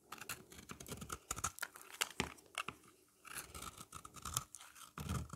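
A utility knife blade scores and scrapes a hand-held, solid, oval yellow bar of dry soap, leaving flaky curls. The clip is full of quick, dry, crunchy scratches with bright edges and short low thumps, with a brief quiet pause around the three-second mark before the scraping resumes.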